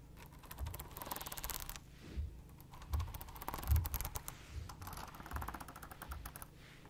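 Long acrylic nails rapidly tap the pink cardboard cover of a small pink-red spiral-bound notebook held close to the mic. Quick, bright clicking taps come in bursts, with soft low thumps from the cover underneath. Short pauses separate the flurries.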